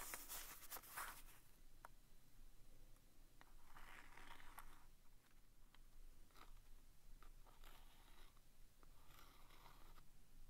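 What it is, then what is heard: Cardboard staple box. A small vintage green printed cardboard box of Commander staples, hollow and presumably full, is held in the fingers while the tip of a wooden stick traces, scratches and taps its side and front faces. Soft, dry scraping swells and fades under a low background hum. Short, sharp taps with bright clicks punctuate it, along with occasional light crinkling.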